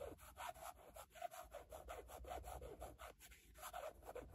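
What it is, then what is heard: Carbon fiber textured plate. Long nails scratch back and forth across a rigid black carbon-fiber patterned panel with a logo. The result is a quiet, rapid run of short, dry rasping strokes with a faint mid-pitched squeak in each pass.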